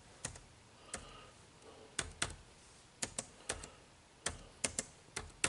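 Fingertips type on the dark plastic keys of an HP laptop keyboard, making fourteen separate, irregularly spaced clicks. Each keystroke is a short, bright plastic tap with a soft low thump that dies away almost at once, with quiet gaps between the presses.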